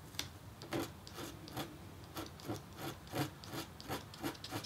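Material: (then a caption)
Copper foil. A red-handled metal stylus scratches and hatches lines into a flat, thin, black-coated copper-foil scratch-art board. Soft, dry rasping strokes repeat about three times per second in an uneven rhythm, each with a bright scratchy edge over a faint low body. The strokes stop short with no ring, and the whole clip stays quiet.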